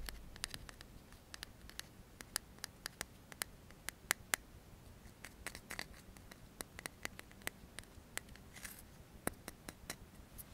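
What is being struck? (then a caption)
Metal aerosol can. A hand-sized metal aerosol deodorant can with a blue cap is held in both hands while fingertips quickly tap and scratch its metal body. The result is a quiet, steady stream of sharp, bright clicks that stop dead, over a soft scratchy hiss.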